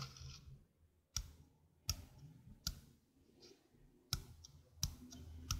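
Long nails tap and click on the rim of a small, hollow stainless steel sink strainer held in the hand. Sharp, bright metallic clicks come at uneven intervals and die away almost instantly. A faint low hum sits underneath.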